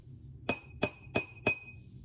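A glass jar holding only a little water is tapped four times at an even pace, each tap giving a clear, bright clink. The jar with the least water rings at a high pitch, because a glass with little water sounds high while a full one sounds low.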